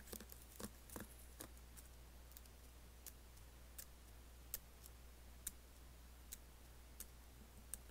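Several fingertips tap and type on the black plastic keys of an Apple laptop keyboard with an aluminium body. Quiet, short, bright clicks come in an irregular scattered series, clustered at first and then more spaced out. A steady low hum sits underneath throughout.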